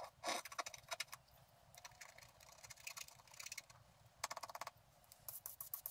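A wooden stylus scratches the root area of a thin, flat sheet of black-coated scratch art paper, scraping off flakes of the coating. Short, bright, dry scratching strokes come in bursts with quiet pauses between them, and there is almost no low end.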